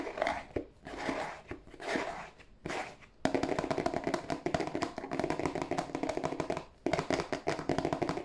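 A hollow, glossy cardboard tissue box is held in both hands while fingertips and nails tap on its broad face. For the first three seconds, soft swelling brushes and scattered taps are heard. Then rapid, dense, hollow tapping runs almost continuously, with one brief pause before resuming.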